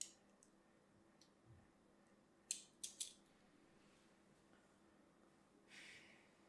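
A thin metal needle scratches a crosshatch pattern into a small, hand-sized, solid purple-and-white striped soap bar held in one hand, with a dark tool handle briefly seen at the end. Faint, bright scratching gives way to three sharp, crisp scrapes in quick succession, followed by a softer, longer hissing rasp near the end. The sounds are quiet, high and dry, with almost no ring.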